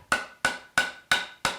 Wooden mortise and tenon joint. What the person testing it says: you hear that pitch change as it bottoms out and as I look I've got a really nice Gap free fit